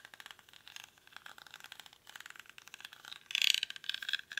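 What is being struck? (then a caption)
Woven rattan basket. Fingernails scratch the weave of a small, hollow woven rattan/reed basket held in both hands. A steady run of quick, dry, crackly scratches with a bright, thin tone and no low end is heard, growing louder and denser near the end.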